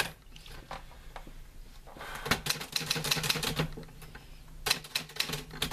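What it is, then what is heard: Metal manual typewriter. Fingertips type on the keys of a green-grey metal portable manual typewriter with paper loaded. Quiet, scattered taps give way to quick bursts of sharp, bright metallic clacks with a faint ringing tone, over a steady low hum.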